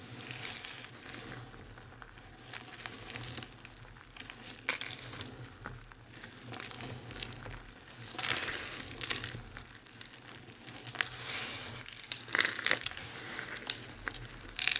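Hands rub and crush handfuls of a pile of fine, dry soap crumbs and flakes, then scoop the pile between the palms. The result is a steady, bright, sizzling crackle with soft gritty crunches, swelling louder around 8, 12 and 14–15 seconds as the handfuls are pressed.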